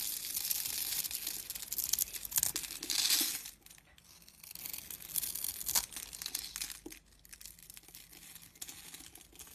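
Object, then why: Soap bar scraped with a blade. A snap-off box-cutter blade scrapes and carves a grid pattern into a rectangular, solid purple bar of dry soap held in the hand, shaving off small crunchy flakes. Bright, dry scraping and crackling crunches come in two dense bursts with a quieter gap between them, then fade to softer scratching toward the end.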